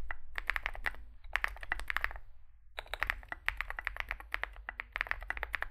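Two hands type with their fingertips on a Zoom65 65% mechanical keyboard with a solid metal case and grey and white SA-profile plastic keycaps, resting on a desk mat. Rapid, crisp, clacky key presses with a bright attack form two bursts separated by a brief pause, over a faint low hum.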